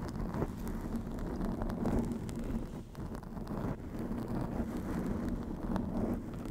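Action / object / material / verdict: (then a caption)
scrape / foam microphone windscreen / foam / none. Long acrylic nails scratch over the top and sides of a black foam windscreen on a white microphone. The result is a steady, muffled, low rustling and scraping with a faint hum-like tone and almost no high content.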